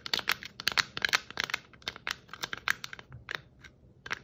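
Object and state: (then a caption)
Glittered plastic Christmas bauble. A hand-sized, hollow, round glittered Christmas bauble, probably shatterproof plastic, with shiny red and white glitter stripes, is held in both hands and scratched and tapped with long acrylic nails. It makes a quick, irregular run of bright, crisp clicks and scratchy crinkles that stop dead with no ring.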